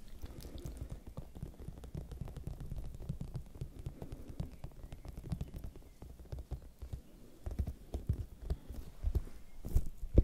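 A large, whole, raw red bell pepper, hollow and firm-skinned, is held near the microphones and tapped with long nails and fingertips. The result is a quiet, dense stream of soft, muffled, deep thuds with short, dry decays and an irregular rhythm, punctuated by a few sharper, louder taps toward the end.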